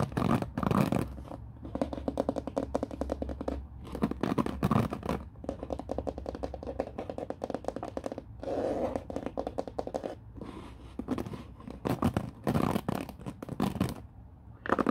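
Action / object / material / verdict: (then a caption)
scrape / plastic paddle hairbrush bristles / plastic / none. Fingers strum and scratch the white-tipped bristle tips of a black plastic oval paddle hairbrush resting on a wooden floor. Dense, rapid scratchy ticking comes in louder bursts between quieter, softer stretches. The sound is dry and mostly low-to-mid, with very little high content.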